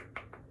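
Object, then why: Small glass cosmetic jar. Three light taps on a tiny glass bottle of Neutrogena retinol regenerating cream, which is kept in its box because it might break. Each tap gives a short, bright glassy click centered around 2 kHz that fades almost at once.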